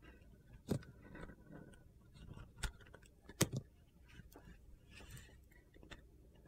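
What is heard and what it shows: A metal utility knife blade shaves and scrapes along the edge of a solid, hand-sized Ivory bar of soap with a gold glitter coating and white inside. Quiet, gritty crunching scrapes are broken by four sharp, short cuts with almost no ring.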